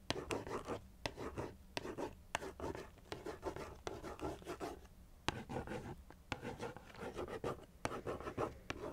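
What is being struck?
Cardboard cereal box.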